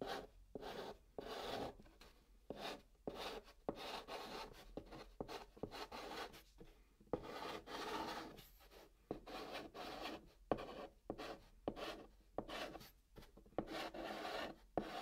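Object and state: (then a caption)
Chalk writing on a cardboard box. A hand writes "Everything will" in white chalk on the top of a hollow brown cardboard box. Dry, raspy chalk strokes scratch across the cardboard in quick bursts separated by brief pauses, with a midrange, papery tone and a slight hollow body from the box.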